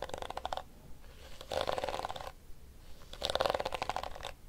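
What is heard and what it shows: A plastic detangling hairbrush has its blue, hollow plastic back tapped with fingernails, and then its pink plastic teeth are rubbed with fingertips. This makes three bursts of dense, rapid clicking and scratchy rustling, with a hollow midrange tone and a bright, crisp edge. Quiet pauses separate the bursts.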